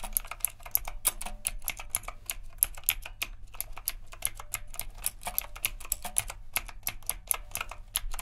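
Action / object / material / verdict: tap / mechanical keyboard with round plastic keycaps / plastic / none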